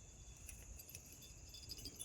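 An old glass light bulb, removed from its fixture, is shaken and rattles like maracas, its loose broken pieces giving a faint, high, jingling clatter over a low rumble. The rattle shows the bulb is broken.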